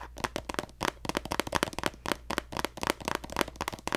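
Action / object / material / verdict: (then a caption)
tap / plastic cosmetic squeeze tube / plastic / none. A hollow pink plastic lotion squeeze tube with a gold cap, held horizontally, is tapped with fingertips and nails. The result is a quick, uneven run of sharp, dry plastic clicks and taps, each with a bright edge and a hollow midrange knock that stops at once with no ring.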